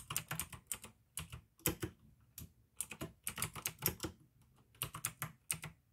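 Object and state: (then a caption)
Plastic mechanical keyboard. Fingertips type in uneven bursts on a pink plastic AUKEY mechanical gaming keyboard with blue switches. Each keystroke gives a sharp, bright click over a soft low thud and dies away almost at once. Short quiet pauses fall between the runs of keys.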